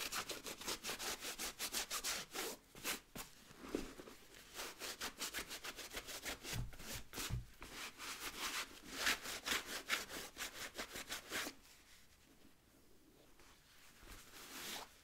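An adult-size, wheat-colored nubuck leather work boot with a rubber sole, hollow and empty, is held in one hand while the other hand rubs the sole and upper with a blue microfiber cloth. Quick, bright, hissy rubbing strokes repeat at a loose rhythm for about eleven seconds. They then fade to softer, quieter rubbing.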